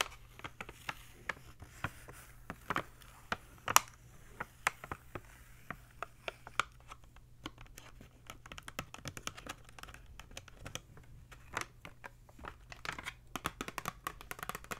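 Long fingernails tap and scratch on a hollow, clear hard plastic clamshell blister pack holding a green razor, held in both hands. Quick, sharp, bright clicks and scratchy rasps come in irregular bursts, growing denser in the second half, over a faint steady low hum.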